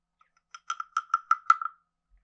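A wooden stick taps and scrapes the ridged back of a hand-sized, carved, hollow wooden frog guiro. About eight short, dry, knocking clicks ring around 1.3 kHz with bright edges. Each one dies away almost at once, and the burst ends in a quick rasping flurry.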